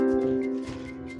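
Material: Nothing is struck.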